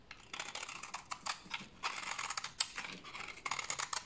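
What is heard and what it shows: A solid, dry brown bar of soap held in the hand is scraped and shaved with a utility knife blade into crumbly flakes, making shavings for washing. The blade makes a quick run of dry, crisp scratching strokes that are bright and hissy with almost no low end, each dying away immediately.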